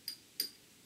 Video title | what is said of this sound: Tube Lab #51 Biasing the Willsenton R8 or any Push Pull Class AB amp | so it's got a little bit of a ring